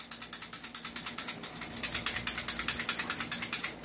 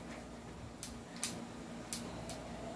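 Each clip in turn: First: loose airsoft pistol, rattles. Second: tight airsoft pistol, no rattle.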